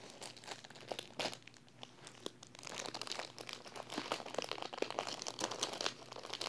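Fingertips and long painted nails press and rub the thin clear plastic film sealing a large flat paper wall calendar held in one hand. The result is a steady run of bright, dry crinkles and sharp crackles with little low end, growing louder and denser in the second half.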